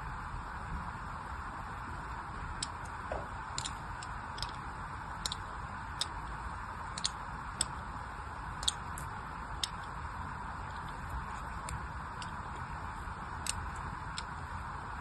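A thin blade cuts lines into a solid orange bar of soap held in the hand, producing about fifteen short, bright scratching ticks spread across the clip. They sit over a steady, quiet background hiss with a low rumble.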